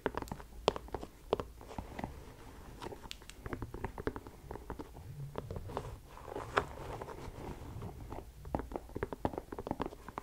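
Long nails tap and scratch the leather side panel of an empty white leather sneaker held sideways. Dozens of quick, dry clicks stand out over a soft scratchy rustle and a low rumble, and each tap dies away almost instantly.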